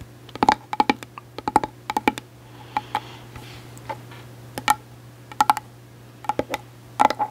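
Long acrylic nails tap close-up on a small, closed, hollow hard-shell case with a gold glitter coating, possibly a glasses case. They make quick, dry, clicky taps in irregular bursts and short rolls, with a hollow tone around 850 Hz. A steady low hum runs underneath.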